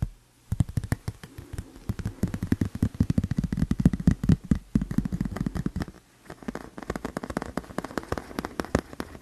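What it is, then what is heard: Tempered glass screen protector. A thin, flat, solid tempered glass phone screen protector with a white frame edge is held up and tapped and scratched with fingertips and a fingernail. Rapid, dry, short clicks and taps follow one another in dense bursts with low, hollow body and almost no ring. Brief pauses fall near the start and around the middle.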